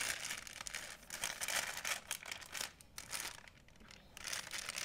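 Hands fold, roll and squeeze a white printed plastic shopping bag, making dense, bright crinkling. Bursts of crackle swell and fade in irregular waves with almost no low end, and the noise dips quieter around the middle before rising again.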